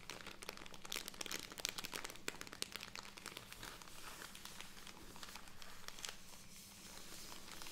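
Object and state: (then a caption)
Plastic cotton pad bag. A handheld soft plastic film bag full of cotton pads is crinkled and tapped with long red nails and fingertips. The result is a steady stream of bright, irregular crinkles and sharp ticks over a low hum, louder in the first half and easing slightly toward the end.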